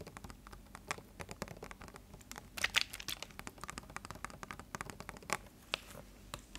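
A clear plastic water bottle with a green label is held sideways and squeezed and twisted with both hands. It gives a dense run of sharp, bright crinkles and crackles with almost no low end, and each snap cuts off instantly.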